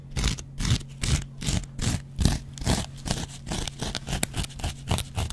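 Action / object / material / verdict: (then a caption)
scrape / cellulose sponge with scouring pad / cellulose foam / none. A double-edge metal razor blade scratches a dry, hand-sized yellow cellulose foam kitchen sponge with a scouring pad. The result is a quick series of rough, bright rasping scrapes at an uneven rhythm of about two or three per second, over a steady low hum.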